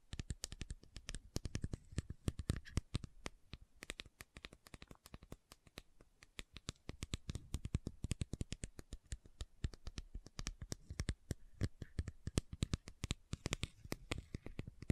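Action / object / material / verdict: scrape / plastic supplement bottle / plastic / none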